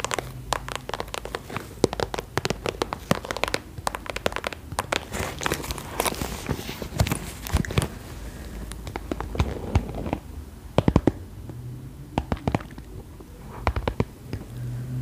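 An iridescent, holographic quilted vinyl cosmetic bag with a metal zipper is turned in the hands while long nails tap and scratch its surface. Quick clusters of sharp, dry clicks mix with scratchy, crinkly rustles over a faint low hum.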